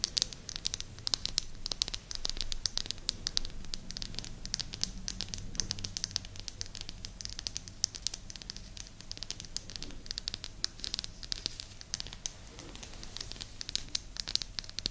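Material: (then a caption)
Wood. Long nails scratch and tap the face of a small, flat, round, solid light-wood disc held beside the microphone. Dense, crisp scratching and rapid dry ticks come through bright and close, over a faint low rumble for the whole clip.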